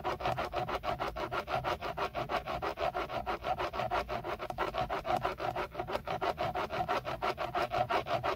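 Fingertips scratch rapidly over the textured black plastic of a hollow-backed BMW steering wheel centre airbag cover, beside the logo. The result is a steady run of quick, dry scratching strokes, about three per second, with a papery midrange rasp and no ringing after each stroke.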